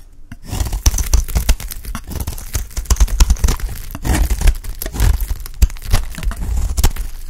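A metal utility blade scrapes a solid, hand-sized orange bar of dry soap held in one hand, shaving chunks and curls off onto a bed of soap shavings. Rapid, dry tearing and crunchy scraping bursts with sharp crackles follow one another continuously, carrying a heavy low rumble under bright, crisp edges.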